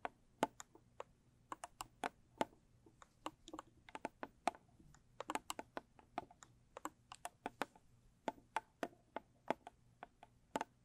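Long stiletto nails tap and scratch the lid and edges of a closed, small square rigid cardboard gift box with a blue textured covering. About 40 quick, dry taps land in an irregular rhythm, each a sharp click with a hollow midrange tone near 720 Hz that dies away almost instantly. Faint scratchy rustles fill the gaps against a quiet, steady background.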